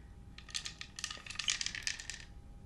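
A long hollow bamboo or wooden rain stick with burned circle decorations, filled with loose beads or seeds, is held in both hands and tilted or shaken. The filling rattles and cascades inside in quick, bright clusters of tiny clicks, with almost no low end. The rattling is fairly quiet and dies away almost instantly after each burst.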